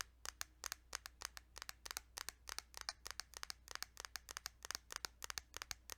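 Fingers tap on a plastic Kirby's Dream Land 2 Game Boy cartridge in quick, uneven succession, about thirty short, dry clicks with a bright, crisp edge and almost no ring. The taps sit over a quiet, steady low hum.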